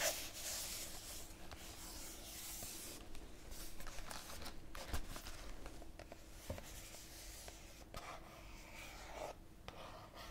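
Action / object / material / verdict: scrape / small cardboard tea box / cardboard / none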